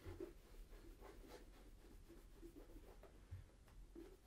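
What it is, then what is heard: Leather boot being rubbed. A hollow, empty tan leather Tricker's Stow brogue boot in Acorn is held up and rubbed with a cloth wrapped around the fingers along the toe and side to polish it. Quiet, muffled rubbing strokes come through as soft low swishes and faint brushing with a dull, hollow tone and almost no bright content.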